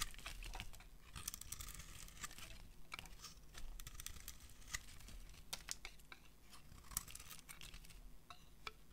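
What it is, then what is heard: Dry soap bar being carved. A metal blade carves and scrapes shavings off a solid peach dry soap bar. Dense, dry crackling scrapes are punctuated by sharp, bright snaps that die away almost instantly, over a faint low rumble.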